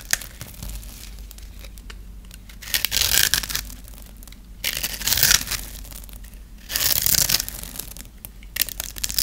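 A dry, hand-held solid white bar of soap is scored and shaved with a metal blade into crumbly flakes. Three longer bursts of bright, crisp scraping and crumbling stand out against a quieter stretch of small clicks and ticks. The dry soap gives a sharp, high, crunchy tearing texture with almost no low end.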